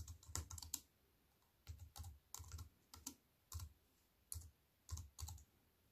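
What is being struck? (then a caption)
Plastic computer keyboard with metal frame. A compact wireless plastic computer keyboard with black plastic keys on an aluminium, silver metal-look frame sits on a wooden table and is typed on with fingertips and long white-painted nails. Short bursts of quick, crisp key taps alternate with brief quiet pauses, each tap pairing a dull low thump with a bright click that dies away almost instantly.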